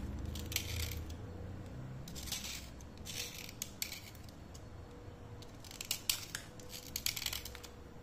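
A thin, solid slate pencil held by the fingertips is scraped along its side with a steel utility knife blade. Repeated bursts of bright, dry scraping and gritty rasping rise over a quiet low hum.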